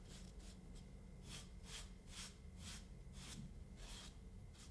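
A paint brush strokes a small, solid molded dome of kinetic sand resting on a wooden board. Repeated soft, bright, hissing brush sweeps rise and fade over a steady low hum, with a faint thin tone running beneath.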